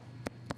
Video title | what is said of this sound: Debbie Meyer GreenBoxes Home Collection 22piece Set | Hear that thick, hollow sound? That's the sound of a very, very fresh pepper.